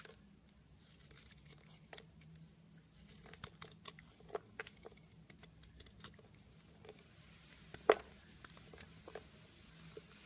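A metal blade carves and crumbles a solid blue bunny-shaped soap. It makes soft scraping and crumbling with scattered sharp little clicks over a faint steady low hum. One louder crisp snap lands near the end.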